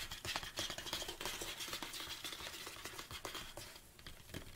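Fingertips and nails tap the sides of a large, hollow black plastic Anabolic State protein tub held upright on a table. A quick, uneven patter of light, hollow plastic taps and scratchy clicks runs throughout, with a bright, crisp edge and little low-end weight. The tapping eases slightly near the end before picking up again.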